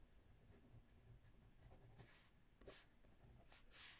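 A ballpoint pen writes lines of text left-handed on a lined paper notebook pad resting on a wooden table. Soft, quiet scratching on the paper is heard over a low background hum, with brighter, louder strokes near the end.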